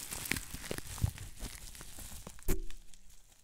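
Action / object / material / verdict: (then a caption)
scrape / plastic bubble wrap / plastic / none. Fingertips squeeze and pinch small air bubbles on green plastic bubble wrap to pop them. A steady crinkling rustle is broken by sharp, snappy pops, the loudest coming near the end with a brief low ring before the crinkling fades.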